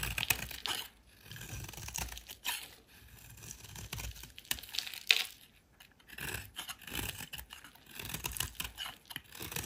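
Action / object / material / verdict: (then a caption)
scrape / bar of soap / soap / none. A solid rectangular white soap bar, held in hand, is shaved and carved with a metal utility knife blade, with curled shavings piling up. Bursts of crisp, bright scraping and shaving strokes come with short quiet pauses between them.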